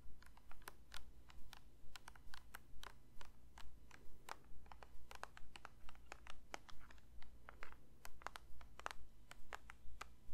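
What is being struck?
Plastic lotion bottle.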